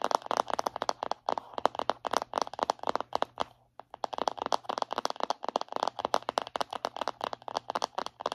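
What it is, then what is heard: Plastic body butter tub. Long acrylic nails rapidly tap and scratch the lid and rim of a round plastic body butter jar held in both hands. The result is a dense run of dry, sharp clicks centered in the midrange, with no ring, over a faint low hum. There is a brief pause partway through before the tapping resumes.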